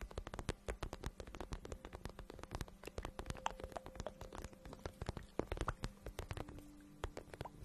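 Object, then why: Patent vinyl boot. A hollow pink patent vinyl boot is held close to the microphone while fingertips and long nails rub and tap its surface. The result is a quiet, steady stream of rapid crisp clicks and soft hollow thumps, with faint squeaky rubbing tones underneath.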